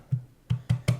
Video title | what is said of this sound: HYPHEN Review - Are they really the gold standard of wireless earbuds? | It's hollow sounding, so it sounds cheap.